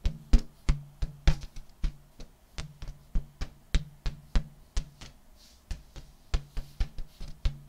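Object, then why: Inflated metallic latex balloon. A large, hollow, air-filled purple metallic latex balloon, held in front of the body, is slapped and tapped with open palms and fingertips 27 times in an uneven rhythm. Each hit gives a deep, drum-like thump with a short resonant boom and a faint bright slap on top, dying away almost instantly.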